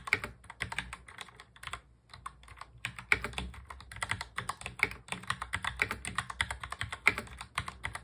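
Fingertips of both hands type rapidly on a full-size black mechanical keyboard with plastic keycaps and a hollow plastic case. The result is a dense stream of short, bright, clacky keystrokes with very little low end, and a brief pause near the two-second mark.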